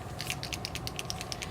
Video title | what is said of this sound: ZIG Memory System Wink of Stella Brush ＿Christmas card | if you don't hear the shaker ball then you want to keep shaking it because it's obviously caught in some of the ink and glitter